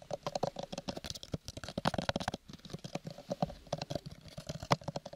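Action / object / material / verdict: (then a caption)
tap / small paper-covered cardboard box / cardboard / none. Fingernails rapidly tap and scratch on a small, square, hollow cardboard gift box covered in purple textured paper, held close beside the mic. The result is a dense stream of dry, quiet, hollow taps with a low, papery body and a faint boxy resonance, each dying away almost instantly, mixed with soft scratchy rustles.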